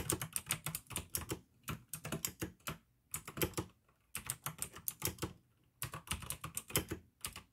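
Fingertips type in quick bursts on a pink plastic AUKEY mechanical gaming keyboard with blue switches, making sharp, bright clicky keystrokes over a low plastic thump. Rapid runs of keystrokes are broken by two short pauses, and each click dies away almost instantly.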